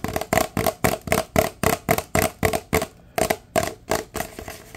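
A large, empty, hollow paper drink cup held upside down is tapped quickly on its side with the fingertips. This gives a fast run of dry, hollow knocks with a faint mid-pitched tone around 645 Hz and a papery, bright edge. The knocks die away almost at once, with a brief pause near the three-second mark before the tapping resumes.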